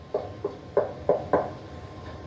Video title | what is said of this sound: Mold and Moisture Inspection and Abatement Part 1 of 2 | tapping the floor and listening for a hollow sound under the floor this could be an indicator of water related damage to the subfloor